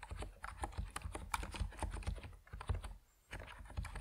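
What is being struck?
Plastic mechanical keyboard with PBT keycaps.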